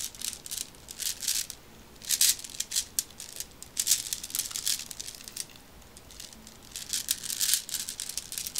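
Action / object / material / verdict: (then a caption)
shake / small plastic bag of glass marbles / glass, plastic / none. A small plastic pack of black round decorative marbles with a cardboard header is held in the hand, shaken and turned with long red nails so the beads rattle against each other. Bright, crisp rattling and crinkling comes in uneven bursts with short quiet gaps, almost all high-pitched with little low end.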